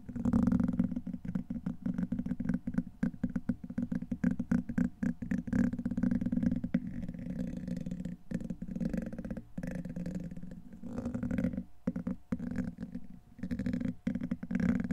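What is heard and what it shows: The tip of a black plastic pen-like tool, held in the fingers, scratches and rubs along the hollow, rounded steel wire-mesh head of a large condenser microphone. This makes a dense, close, low-heavy rasping and scraping that runs almost continuously, with a few brief pauses near the middle and later on.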